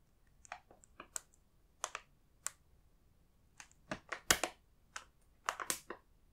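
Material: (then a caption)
Plastic. Fingertips with short nails tap and press on the surface of a large printed plastic multipack bag of Koala's March chocolate biscuits, full of individual packs. Quiet, sharp crinkles and crackles come in scattered bursts, bright and high with almost no low end, each dying away almost at once, with a denser cluster toward the end.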